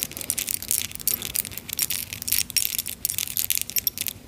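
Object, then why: Charm bracelet with metal chain and small clay and metal charms. A clay and metal charm bracelet, a short metal chain hung with small clay teapot or kettle charms and a tiny metal spoon, is held taut between both hands, then shaken and touched with long nails. The charms jingle in rapid, bright, high-pitched clinks with almost no ring and very little low end.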